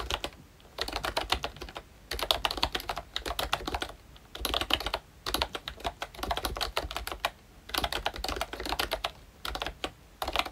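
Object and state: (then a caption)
Plastic membrane keyboard. Fingertips of both hands type on a pink plastic ROYCHE Disney Mickey Mouse retro membrane keyboard with round black keycaps. Bursts of quick, bright, clicky taps with very short decay are separated by brief pauses.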